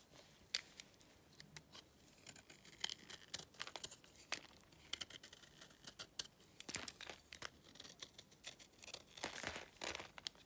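A utility knife blade scrapes and cuts flakes from the corner of a hand-held, solid lump of dry clay. The result is a quiet run of crisp, bright scraping and sharp crackling snaps that end almost instantly, growing denser toward the end.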